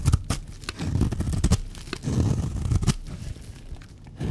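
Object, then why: Bar of soap. A blade scrapes curls off a solid, dry, white speckled bar of soap. It makes a series of short, dry scraping and crinkling strokes with a low, rough body and brief bright clicks, ending in a final scrape.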